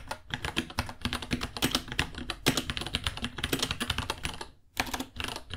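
Both hands type with fingertips on a small white 66-key mechanical keyboard with Gateron Brown switches, white plastic keycaps, a hollow case and pink underglow, resting on a white desk. A rapid, steady stream of sharp, bright plastic clacks with a hollow low thud beneath each keystroke, each tap dying away almost instantly. The typing briefly pauses near the end, then resumes.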